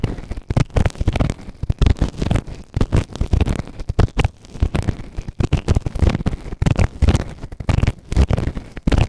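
A white plastic ear tool held in fingertips scrapes inside the ear canal of a soft, solid grey silicone ear-shaped microphone on a round base. The result is close, muffled scratching in rapid, irregular bursts that are deep and bass-heavy with little high end, each scrape cutting off quickly.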